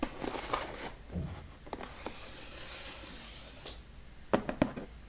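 A large brown cardboard box, first held up by its edge and then lying on a wooden table, is tapped and rubbed on its sides and top with fingertips. Soft, dull taps mix with dry, scratchy rubbing and a longer bright swish across the surface. A quick cluster of sharper taps closes the clip.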